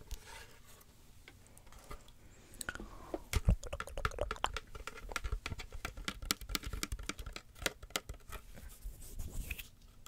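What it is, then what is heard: Woven wicker basket. An empty, hollow woven wicker basket sits open side up while long fingernails tap and scratch its woven interior and rim. Dense, quick clicks and dry crackling scratches come through, with a few louder knocks near the middle.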